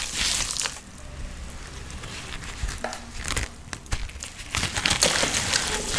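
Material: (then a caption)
Dyed powder. Damp, crumbly clumps of red powder, dyed sand or holi colour mixed with water, in and around a white bowl of red paste, are squeezed, crushed and rubbed by a bare hand with painted nails. Soft, bright crumbling and crinkling bursts rise and fall over a low, muffled rumble, with sharper crunches near the middle and end. The wet clumps crumble apart without squeaking.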